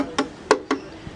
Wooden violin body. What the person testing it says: when you tap it, the sound's consistent. So I know I've done the right thing. I haven't changed that sound.